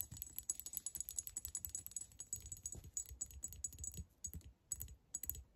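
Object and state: Glass reed diffuser bottle.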